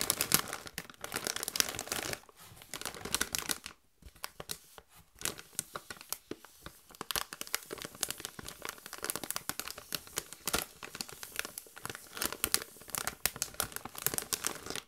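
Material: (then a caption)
Metallized plastic. Gloved hands squeeze and crinkle a partly full Doritos chip bag made of metallized plastic. The result is a dense, bright crackling and rustling with many sharp crinkles and little low end, pausing briefly near the 4-second mark before the crinkling resumes.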